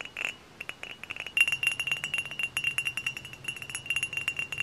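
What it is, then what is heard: Glass bottle, fingernail tapping. Fingernails tap rapidly on a tall, hollow, dark glass cider bottle held upright. The taps land in quick, uneven bursts, each a short bright glassy clink with a thin ring near 2.8 kHz that dies away almost at once.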